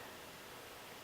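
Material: Nothing is struck.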